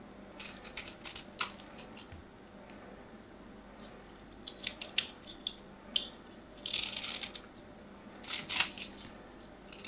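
A small knife blade scrapes a hand-sized solid white bar of soap held in the fingers, shaving off flakes. Bright, dry scratching comes in short, uneven bursts, with longer rasping strokes near the end. A faint steady low hum sits underneath throughout.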